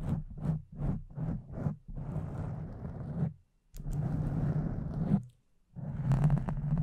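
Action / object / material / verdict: scrape / foam microphone windscreen / foam / none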